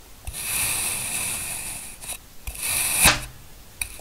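A steel knife presses down into a small, solid green kinetic sand cupcake shape and slices off thin layers of the packed sand. Bright, grainy scraping hisses run through each stroke, with a sharper crunch near the end as a layer breaks away.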